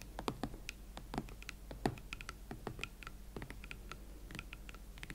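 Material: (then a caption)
Leather. Long nails tap the leather shaft, heel and chunky hollow platform of an empty pair of hot pink Valentino Club platform leather boots. The result is a quiet, irregular patter of short, dry taps and clicks, mixing soft low knocks with brighter ticks that die away almost instantly.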